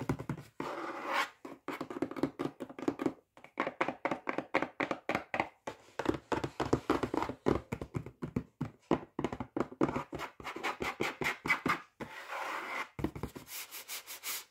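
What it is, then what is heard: Cardboard food box. Fingertips and nails rub, scratch and tap the front of a flat, full Iceland salmon fillets box made of glossy printed cardboard. A rapid, steady run of short, dry taps and scratchy strokes follows, with a hollow midrange body and bright papery edges that stop almost at once.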